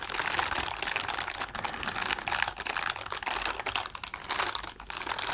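A pair of blue silicone dishwashing gloves with bristle palms, worn on both hands, has the palms rubbed and pressed together. This makes a dense, continuous crackling and scratching texture, bright and concentrated in the upper-mid to high range with almost no low end. It swells and dips slightly as the rubbing continues.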